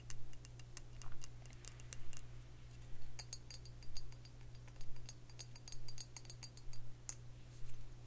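Long fingernails tap on a round glass liquor bottle with a metal screw cap, filled with dark liquid. Quick, bright, dry clicks come in loose clusters at a fairly steady pace over a constant low hum.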